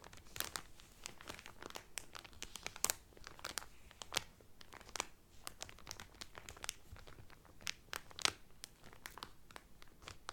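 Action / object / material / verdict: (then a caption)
scrape / cotton towel wrapped in cellophane / cellophane / none. A cotton towel wrapped in cellophane is rubbed and crinkled by hands, then by just one hand. The result is a continuous stream of sharp, bright crackles and crinkles that rise in scattered louder pops over a quiet background.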